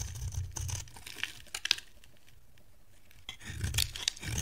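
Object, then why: Bar of soap scraped with a metal blade. A pale pink, dry solid bar of soap held in the hand is scraped with a metal box-cutter blade. Crisp, bright scraping and crunching bursts come with soft low thuds. A quiet pause in the middle gives way to a final run of louder shaving strokes.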